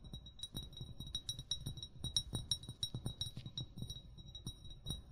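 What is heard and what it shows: An upright, hollow amber (brown) glass bottle, fill level not visible, is tapped with short fingernails and fingertips in a quick, irregular series. Each tap gives a short, bright glassy clink over a soft low thump, and the high ringing tone fades almost immediately.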